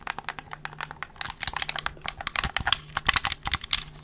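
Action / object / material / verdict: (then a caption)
tap / plastic game controller / plastic / none. A handheld black plastic gamepad with a hollow shell is held in both hands close to the mic while its buttons and triggers are pressed and clicked and the shell is tapped with fingertips. The result is a rapid, uneven stream of sharp, bright plastic clicks and light hollow taps, each very short, over a faint steady low hum.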